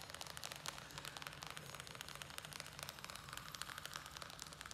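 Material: Plastic.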